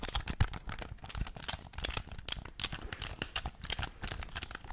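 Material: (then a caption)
Plastic. A black, hand-sized, hollow plastic game controller is held in both hands in front of the mic and rapidly tapped and scratched with painted fingernails across its front shell and buttons. It makes a quiet, dense stream of sharp, dry clicks and scratchy crinkling, with bright ticks over soft low thumps and no ring after each hit.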